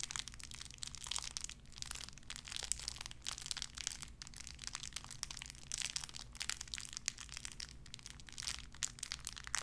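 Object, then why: Thin plastic wrapper. A small clear plastic bag wrapped around a tiny white figurine is crinkled and squeezed between fingertips with long red nails. A quiet, continuous run of bright, crackly crinkling fills the clip, dotted with sharp snaps, over a faint steady low hum.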